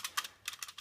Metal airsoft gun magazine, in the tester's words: It's made of metal, but as you can hear, it rattles a lot.